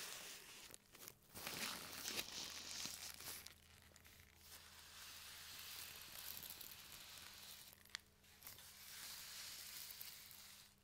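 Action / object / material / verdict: scrape / thin plastic mailing bag / plastic / none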